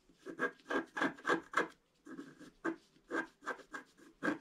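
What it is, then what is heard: Scratch-art paper being scratched. A pointed wooden stick scratches a flat scratch-art page, a black coating over colored paper. It makes a series of short, dry scraping strokes in an uneven rhythm, each with a raspy midrange tone that brightens at its peak and stops almost at once.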